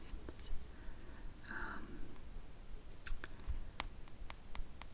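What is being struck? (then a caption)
Hardcover comic book with cardboard cover. Long pointed nails tap on the printed cardboard back cover of a hardcover comic album lying flat on top of other books. A soft brushing rustle comes first, followed by a series of crisp, bright clicks that stop almost instantly, over a low, quiet background hum.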